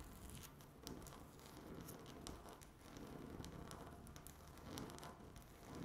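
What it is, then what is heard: Laminate tabletop tapped and scratched with nails. Long natural nail tips tap and scratch a flat, solid speckled laminate tabletop. The result is a quiet, steady scratching and rustling texture, broken by brief bright clicks from the nail taps.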